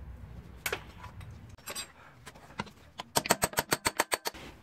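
During a clutch job on a Peugeot 407 / Citroën C5 2.0 HDi, with the release bearing already removed, an unnamed clutch-area component is tapped: a few scattered sharp, dry clicks, then a quick, fairly even run of bright taps. The taps sound hollow and different from normal, showing the part has come unstuck and is detached.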